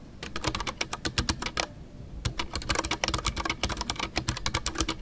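Fingertips type continuously on a full-size Ducky One 2 mechanical keyboard with a white case, MX Brown switches and custom artisanal PBT plastic keycaps. Rapid, short clacks combine a bright click with a low thud, broken by a brief pause near the two-second mark before the typing resumes.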